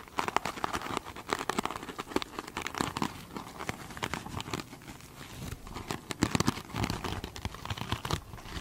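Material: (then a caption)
Foam and mesh. Long pointed nails scratch the textured, sparkly surface of a foam sponge covered in glitter mesh fabric. The result is a close, dense run of crinkly, scratchy strokes with bright rasping edges and soft thumps beneath.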